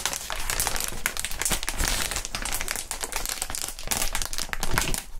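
Gloved fingertips squeeze and crinkle clear, inflated plastic air column cushion wrap. Dense, continuous crinkling fills the clip, with bright, sharp crackles over a steady low rustle and soft thumps.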